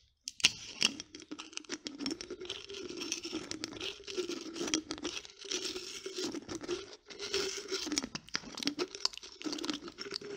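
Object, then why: Glass jar with plastic screw lid. A small Nescafe glass jar, partly full of coffee, with a black plastic screw lid is held close up while fingertips and long nails tap and twist the lid. The result is a continuous run of bright, crackly scraping and crinkling with sharp clicks and taps. A faint low tone hums underneath.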